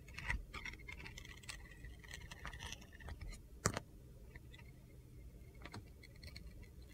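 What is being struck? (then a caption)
Soap bar. A utility knife scrapes thin white layers off the edge of a handheld solid red glitter soap bar with gold stars. The result is a series of short, crunchy, gritty scrapes and dry clicks with bright edges and a low rumble underneath. The sharpest scrape comes just before the four-second mark, and the scraping grows softer and sparser after that.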